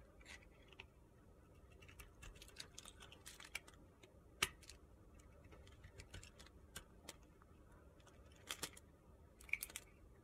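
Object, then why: Bar of soap. A utility-knife blade shaves the edge of a solid pale pink soap bar held in the hand as the bar is carved down. Quiet, crisp, bright scraping and ticking cuts come at an irregular pace, with a few sharper snaps standing out above a soft, steady hiss.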